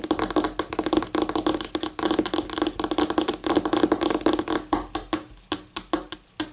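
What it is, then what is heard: Solid laminate tabletop. Long painted nails tap rapidly with both hands on a flat, solid white laminate tabletop. The clicks are sharp, dry and densely packed, each with a brief bright ring around 300 Hz. Toward the end the taps thin out into a slower, sparser pattern.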